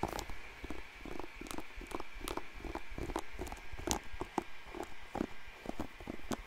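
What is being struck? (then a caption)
Plastic paddle hairbrush bristles. Fingers scratch and flick the bristles of a blue plastic paddle hairbrush right next to the microphone. The result is a steady stream of dry, sharp clicks and crackly scratches with a few brighter flicks, over a low rumble and a faint steady tone.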